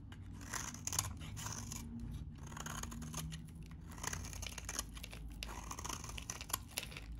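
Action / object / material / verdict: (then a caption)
scrape / bar of soap cut with a blade / soap / none. A metal utility blade scrapes and cuts the surface of a very dry, vintage salmon-orange bar of soap held in the hand. Dense, crisp scraping and crumbling crackles come in quick bursts with bright edges over a low, steady hum, with short, dry ringing throughout.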